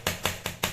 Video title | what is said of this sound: Unboxing and full review of 45L mokoto alloy top box - Pap's Moto Vlog | Ganyan ang tunog na alloy.